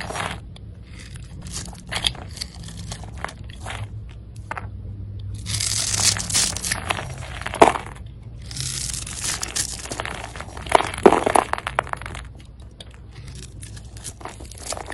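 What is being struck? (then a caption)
Bar of soap cut with a knife blade. A utility knife blade scrapes scored strips and cubes off a solid red soap bar held in the hand. Dry, crackly crunching and scraping come in quick, irregular bursts, rising into denser, brighter rasps around the middle and again near the eleventh second.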